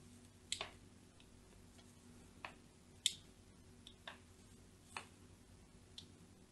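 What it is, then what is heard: Bar of soap scored with a blade. A thin metal blade scores parallel lines into the top corner of a solid, cream-colored, palm-sized bar of soap held in the hand. Eight short, crisp, bright scratching clicks come at an irregular pace, each dying away almost instantly. A faint low hum runs underneath.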